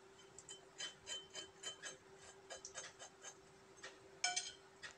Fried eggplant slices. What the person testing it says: শব্দ শুনে আপনারা বুঝতে পারছেন কত মচমচে হয়েছে